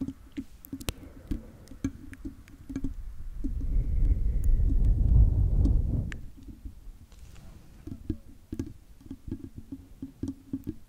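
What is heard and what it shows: Long fingernails on both hands tap and scratch the hollow silver metal mesh grille on the head of a large condenser microphone, producing quick, dry, low clicks at a fast, fairly steady pace. In the middle the taps give way to a louder, dense rumbling scratch that swells and fades before the tapping resumes.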